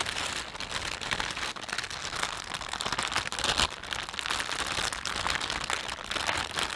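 A thin, empty panda-print plastic shopping bag is held and stretched in both hands while the thumbs rub and crinkle it. A steady, bright crinkling and crackling runs throughout with dense rapid snaps, mostly in the high range and very little low end.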